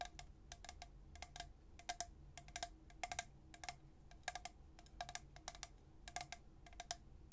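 A tall, hollow, white-coated stainless steel travel tumbler with a black plastic lid is held upright in one hand and tapped by the fingertips and nails of the other. Quick, irregular bursts of light taps sound out, each a brief bright click with a short chime-like ring around 720 Hz over a low background rumble.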